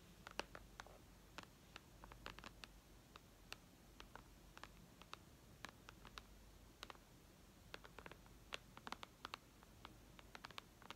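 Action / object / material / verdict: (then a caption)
tap / tablet with glass touchscreen / glass / none. Long red nails tap on the glass touchscreen of a white iPad lying flat, making about 39 quiet, sharp clicks in an uneven rhythm. Each tap is a brief, bright tick with almost no ring, set over a faint low background hiss.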